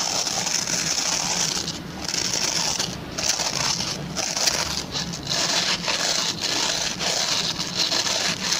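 Fingertips and short nails scratch across the plastic pin bristles of a hand-sized oval white plastic brush. The result is a steady, dense, bright scratching hiss with a rapid clicking texture, dipping briefly now and then as the strokes change.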